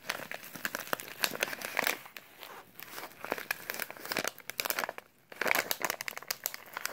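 A small, filled brown kraft paper instant oatmeal pouch is crinkled and rubbed by latex-gloved fingertips. Dense, bright crackling and papery crunches come in bursts of varying loudness, with a brief lull near the five-second mark before the crinkling picks up again.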